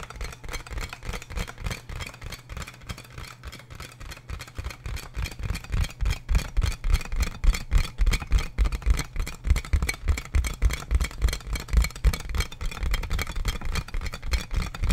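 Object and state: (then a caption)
Plastic air column packaging bag. Fingertips and nails tap and scratch the hollow air tubes of a large, clear plastic inflatable air-column packaging bag held in front of the mic. The result is a rapid, uneven stream of deep, hollow thumps with very short decay, under a faint brushing scratch. The tapping grows louder from about six seconds on.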